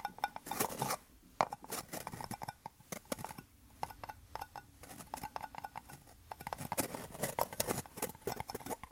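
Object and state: Two plastic cups joined rim to rim.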